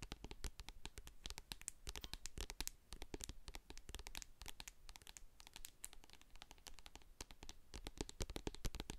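Long acrylic nails tap and scratch the sides and silver metal lid of a medium hand-held plastic jar of hair co-wash full of white cream. Quick, dry, bright clicks and scratchy rasps come in a dense, steady stream, each dying away almost at once. The tapping stays quiet, with a soft low thump under the crisp tops.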